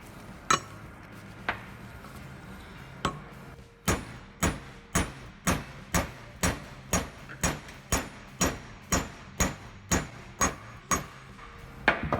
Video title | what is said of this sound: How to Remove & Install Wheel Bearing Race | You hear that sound difference? Now it bottomed out and it's even.